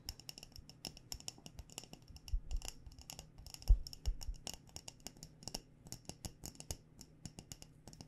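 Long nails tap quickly on the glass body of a mason jar filled with loose tea, its metal lid wrapped in a fabric cover. The result is a fast, irregular run of many short, crisp clicks with a bright glassy tick and a faint low thump beneath. Each tap dies away almost instantly.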